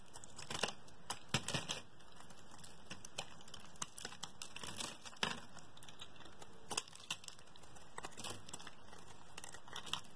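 A metal blade carves a solid pink bar of soap held in the fingers, shaving slabs and curls off its flat face. Crisp, crackly scraping strokes come one after another over a steady low hiss, each a short bright burst with almost no ring.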